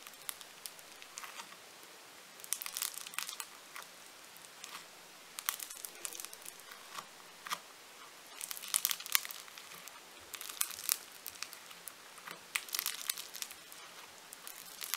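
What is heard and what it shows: A large, solid lump of purple foam-bead clay (floam) on a table is pressed and pinched by thumbs with glittery nails. It gives off quiet, bright crackling and crinkling, like a fine sizzle, in clustered bursts with short gaps between squeezes and no low-end body.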